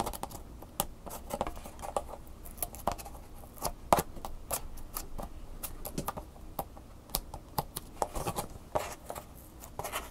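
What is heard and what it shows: A clear plastic blister pack with a cardboard insert has its back and sticker scratched and rubbed with fingernails. The result is a dry, crinkly scratching texture broken by many short, sharp clicks and taps that die away almost instantly. The sound has a mid-range plasticky tone and a faint low rumble underneath.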